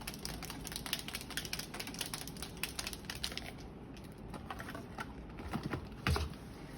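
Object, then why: Plastic paint bottle with a metal mixing bearing. A plastic airbrush paint bottle with a metal mixing bearing inside is shaken hard to mix the pigment, so it won't separate and clog the airbrush. The bearing gives a rapid, bright clicking rattle over a low rumble, easing briefly before a louder knock near the end. The bottle and bearing sound normal.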